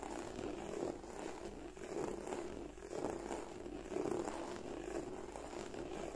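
Long nails and fingertips scratch and rub the scales of a black croc-embossed leather bag. The result is a steady, soft, scratchy rustle centered in the low midrange, swelling in gentle pulses about once a second with a faint airy hiss above.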